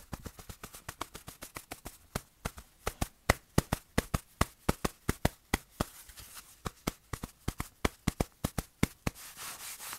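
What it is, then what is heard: Fabric-covered padded watch cushion. A small padded black fabric watch pillow, held in the palm, is rubbed and brushed with the fingers of the other hand. About 42 short, crisp, dry scratchy strokes follow one another in an uneven rhythm, each with a soft low thump. The clip ends in a steadier, breathy rubbing swell.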